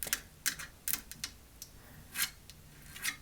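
Light, quick taps on the metal frame of a Costco folding chair make bright, dry clicks that sound like typing. The taps come in irregular bursts, and each one fades almost instantly.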